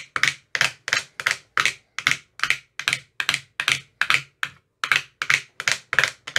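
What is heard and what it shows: An empty translucent frosted plastic ice cube tray with 15 hollow compartments is tapped inside its cells with a thin metal rod with a white rounded tip. The result is a quick series of crisp, bright, hollow clicks, about two or three a second at a slightly uneven pace. Each click is dry and dies away almost at once, with almost no low end.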